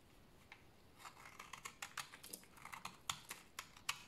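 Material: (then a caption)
Soap. A solid bar of dry beige soap is held in the hands and scraped with a blade, making a run of crisp, bright scratching strokes. The strokes are quiet and dry with almost no low end, spaced unevenly, and grow sharper toward the end.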